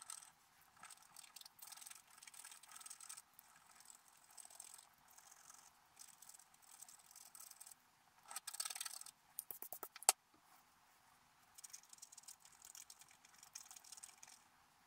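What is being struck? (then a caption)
Wax-coated scratch-art paper scraped with a wooden stylus. A wooden stylus scratches the black coating of a scratch-art paper card held flat, making quiet, dry, high scratching strokes in bursts. Near the middle, a flurry of quicker strokes ends in one sharp, bright tick, followed by a short silence. The steady, thin scratching then resumes.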